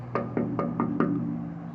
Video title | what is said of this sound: What is this Gravestone??? | not only does it give a hollow sound, but it gives almost a little bit of a ringing sound